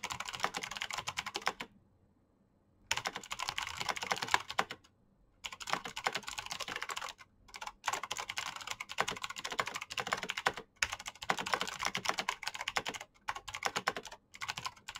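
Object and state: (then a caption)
Plastic mechanical keyboard. Fingertips with short painted nails type fast on a black Razer mechanical keyboard with plastic keycaps and green clicky switches. Rapid, bright clicks pour out in dense bursts, broken by brief silent pauses.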